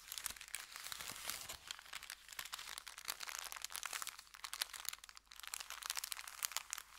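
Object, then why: Kraft paper bag. An empty brown kraft paper bakery bag, folded into layers, is pressed and crinkled between the fingers. The result is a dense, bright crackle of quick, sharp snaps that come in uneven bursts, with almost no low end and no lingering ring.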